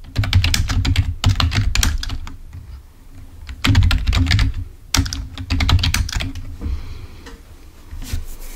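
Fingertips type on the keys of a full-size black plastic Microsoft keyboard resting on a table. Quick bursts of tapping clicks come in irregular runs with short pauses between, each keystroke a soft low thump with a bright click on top.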